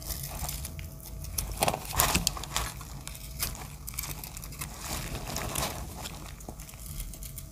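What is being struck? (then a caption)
Bar of dry soap cut with a small blade. A small metal blade shaves the edge of a solid grey heart-shaped dry soap with teal chips, held in the hand. Irregular, crisp, crackly cutting and scraping bursts give a bright texture over a low background rumble, with the loudest strokes coming around the two-second mark.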